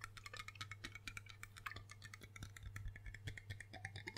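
Fingertips and nails tap rapidly on the embossed base and body of a large, hollow, dark glass rum bottle. Quick, bright clicks with short glassy rings run in a dense, steady stream over a constant low hum.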